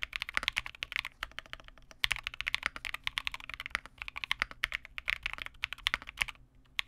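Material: Plastic.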